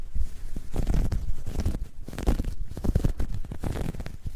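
Long nails pinch and scratch a soft, hollow, dark grey ribbed knit fabric bag. The result is a dense run of deep, muffled scratching and rustling, almost entirely low-pitched, with quick crackly bursts that stop without ringing.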